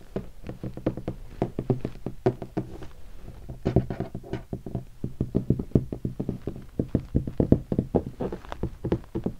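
Fingertips tap rapidly and unevenly on the body section of a hollow guitar hard case covered in black leatherette and stickers. The taps land as short, dry, hollow knocks with a low resonant body and almost no ring or high-end brightness.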